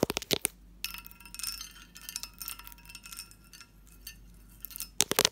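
Fingernails tap a medium, hollow, empty textured pressed-glass candy dish with its lid on, giving bright, chiming glass clicks. Quick clusters of sharp taps open and close the clip, with a softer, shimmering ring of high tones lingering in between.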